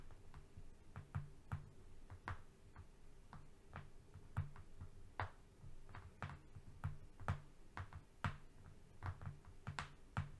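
Short painted nails tap and scratch across a long, flat strip of brown corrugated cardboard lying on a fluffy rug. Quiet, irregular taps land as soft, dull thuds with brief bright clicks and die away almost instantly, over a faint scratchy rustle. The sound stays low and muffled throughout.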